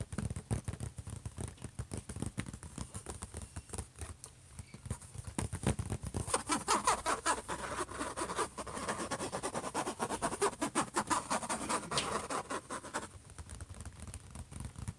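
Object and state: Laptop lid tapped and scratched.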